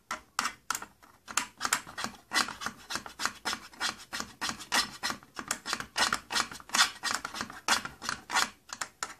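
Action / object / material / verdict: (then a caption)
scrape / thin plastic case panel / plastic / none. Fingertips and nails rub and scratch across the thin side panel of an opened purple plastic tattoo kit case. Around 38 quick, dry scraping strokes follow one another in an uneven rhythm, each a bright, hissy rasp that fades almost at once.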